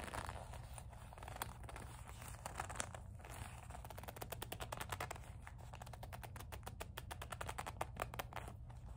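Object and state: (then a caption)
Leather coin purse. Long nails scratch and squeeze the soft leather body of a small black leather kiss-lock coin purse with a metal clasp frame. The result is a quiet, steady run of fine crackling, crinkling scratches that grow into rapid, dense ticking strokes, all over a low, constant hum.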